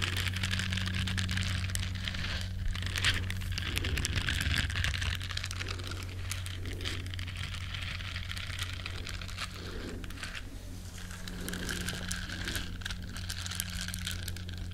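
Long nails scratch the bristles of a small, flat, solid yellow silicone duck-shaped scrubber, making a dense, bright, crinkly scratching that continues steadily throughout. A constant low hum sits underneath the whole time.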